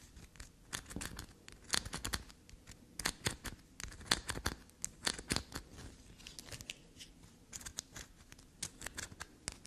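A small solid black soap bar is held and scratched and scraped with long black nails. The result is a run of quick, dry, bright scratching and tapping clicks in irregular bursts over a faint low background.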